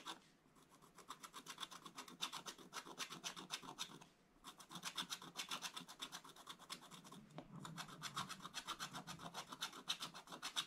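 A wooden stylus scratches near the top of a black coated scratch-art paper page in an open book. Quick, rasping strokes repeat about four times a second, with a bright, hissy edge and little low end. There are short pauses near 4 seconds and 7 seconds before the scratching resumes.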